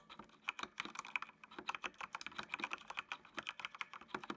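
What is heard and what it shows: Fingertips type steadily on the keys of a full-size black plastic mechanical computer keyboard with RGB backlight, producing about two dozen quick, separate keystrokes over four seconds. Each press gives a short, bright plastic click that dies away almost instantly and centers around 2.5 kHz, with little low end and a fairly quiet overall level.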